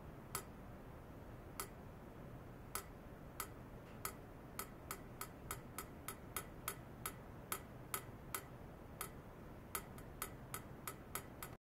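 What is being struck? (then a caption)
Stainless steel pipe. A long, hollow, polished stainless steel pipe lies horizontally on a lab bench, held in white foam net sleeves and clamps and wired to ultrasonic equipment, and is tapped with a thin metal rod probe with a dark handle. About 25 short, sharp metallic ticks ring around 1.25 kHz with bright high overtones and die out almost instantly. They come at an uneven pace that quickens in the second half, over a steady low hiss.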